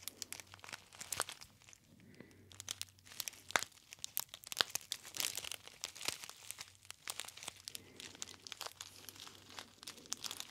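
A gold foil tea bag, a gold metallized foil pouch, is pinched and crinkled by fingertips near the ear. Dense, bright, sharp crackles and crinkles come in irregular bursts throughout, with a faint low hum underneath.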